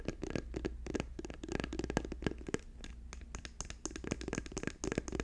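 Fingers tap quickly on a plastic tube, producing a dense run of short, dry, hollow taps with a low-mid body and faint bright clicks, each dying away almost instantly. A steady low hum sits underneath the tapping throughout.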